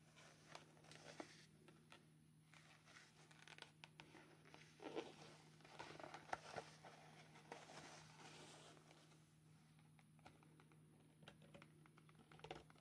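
Hard black plastic claws tap and scratch a small, closed, hollow silver foil-covered cardboard Ray-Ban sunglasses box with contents inside as it is held and turned. Quiet, dry crinkly taps and scratchy rasps come in bursts over a steady low hum, each click dying away almost at once.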